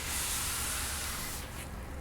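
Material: Nothing is struck.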